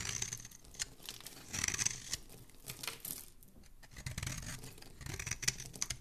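A solid rectangular pink-and-white bar of soap with embossed lettering is held in one hand and scraped and carved with a dark metal blade, sending shavings and powder flying. Bright, crisp scraping and shaving strokes come in uneven bursts, with soft crumbly crackles between them.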